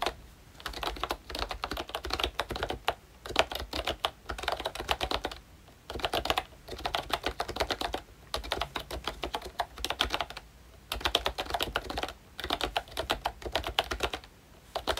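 Fingertips of both hands type on a full-size pink ROYCHE Disney Mickey Mouse retro keyboard with a plastic case, round plastic keycaps and membrane switches. Bursts of quick, dry, bright plastic clicks and taps are separated by short pauses, with almost no ring after each keystroke.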